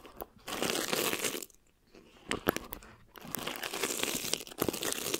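A clear plastic film stretched over a mesh microphone head is rubbed and crinkled by one flat hand, with the fingertips and long nails brushing across it. Close, dense crackling and bright rustling come in bursts, with sharp snaps around two and a half seconds, brief near-silent pauses, and then steady crinkling to the end.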